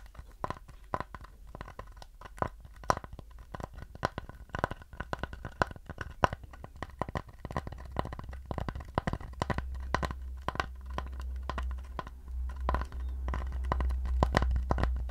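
Fingernails scratch and tap a round wooden plate held up beside the face, making a quick, uneven run of short, dry clicks and scrapes with a woody midrange knock. A low rumble sits underneath and grows louder in the second half as the tapping continues.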